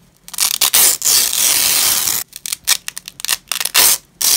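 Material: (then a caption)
Nylon. Gloved hands in black nitrile peel apart the two sides of a long, thin, flexible purple nylon hook-and-loop strap lying on a grey fabric cloth. The result is a series of bright, crackling rips with no low end: short quick tears, then one long sustained rip, then more short bursts, each stopping dead with almost no ring.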